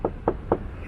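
Three knocks on the chest of a public statue along the Grand Canal in Wuxi give short, dull, mid-pitched thuds around 450 Hz that die away almost instantly, with no bright ring. The sound shows the statue is empty, or hollow, and its hand likely fell off and was replaced with concrete shaped like a hand.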